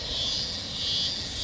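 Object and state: Nothing is struck.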